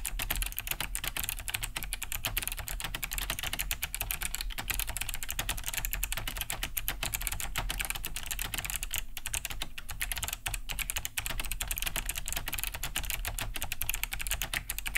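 Both hands type fast with fingertips on a large beige Cherry G80-3000 mechanical keyboard fitted with Kailh BOX White switches, with a hollow plastic case and thick plastic keycaps, resting on a wooden desk. A steady, dense stream of bright, clicky key-switch taps continues for the whole clip, each tap short and dry over a low, hollow body.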